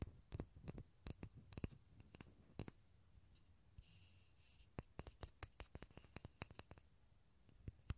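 A small solid pine block held above a stereo recorder is tapped with fingertips, giving 27 short, dry, quiet taps in an irregular rhythm. Each tap has a soft low thud with a quick click on top and dies away almost at once. Midway there is a brief, faint, bright scratchy rustle.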